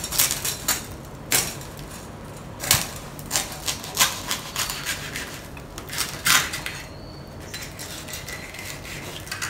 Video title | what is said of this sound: 简易版 脆皮烧肉 - 肯定成功 - 酥脆 美味多汁 - 气炸锅食谱 | Listen to how crispy it is